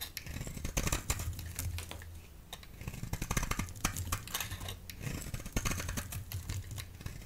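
A utility blade shaves strips off a solid orange oval Fa bar soap held in the hand, making a dense run of crisp, short scraping and crackling cuts with bright edges. A steady low hum sits underneath throughout.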